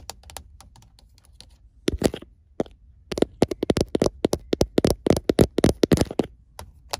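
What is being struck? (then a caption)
Plastic car phone holder. Fingertips and painted nails tap and scratch the glossy iridescent face of an empty, vent-mounted car phone holder in a truck; the holder is a small, hollow plastic body with chrome-look side arms. Faint, scattered ticks come first, then from about three seconds a fast, irregular run of louder, sharp, dry plastic clicks with almost no ring.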